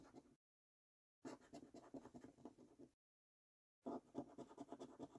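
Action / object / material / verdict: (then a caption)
scrape / paper scratch card with latex coating / paper, latex / none. A coin edge scratches the latex-coated number panels of a new £5 Prize Portal paper scratch card resting on a dark table. Short, rough scraping strokes come in three bursts separated by silent gaps, with a gritty low-mid rasp.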